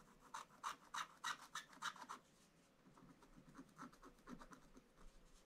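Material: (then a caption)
Coated paper. A wooden stylus scratches the black coating near the top of a scratch-art paper picture page in a book lying flat on a table, while the other hand holds the page. About a dozen quick, dry raspy strokes come at a steady rhythm. They are bright and crisp for the first two seconds, then softer and duller after a short pause.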